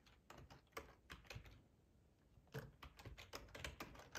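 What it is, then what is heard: Plastic computer keyboard. Fingertips of both hands type on a black plastic ergonomic split computer keyboard with a hollow housing, lying on a tablecloth. Quick, dry key taps come in two bursts separated by a quieter pause, each tap sharp with almost no ring and a hollow low thump beneath a bright click.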